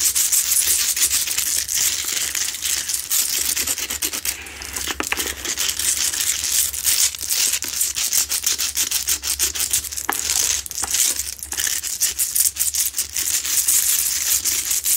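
Long nails scratch fast and hard across the rough surface of a lit, medium-sized, solid Himalayan salt rock crystal lamp. The result is a dense, continuous run of bright, gritty scraping and rasping with quick crackly ticks, almost all energy in the high range and no low body.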